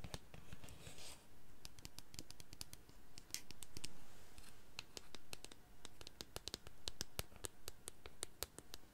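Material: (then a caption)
Plastic. Long painted nails scratch and tap a medium, hollow white plastic foam-pump bottle, working over both its body and the pump head; how full it is can't be seen. Soft scraping runs under a quick, irregular stream of sharp, bright clicks that die away almost instantly. A low, dull undertone sits beneath it all.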